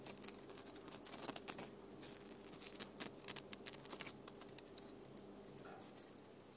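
Long nails scratch and tap the glittery surface of a flat plastic snowflake ornament covered in silver glitter. The result is a quiet run of crisp, bright clicks and dry scratching with a faint steady hum underneath.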